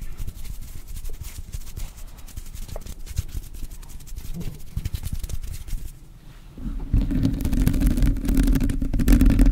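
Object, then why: Metal mesh microphone grille. Long blue acrylic nails scratch and tap the hollow black metal mesh grille of a handheld-size, rhinestone-covered microphone mounted in front of a car steering wheel. The result is a dense run of quick, muffled scrapes and taps, heavy in the low end. After a brief dip near the six-second mark, the sound grows louder and denser, with a steady low drone underneath.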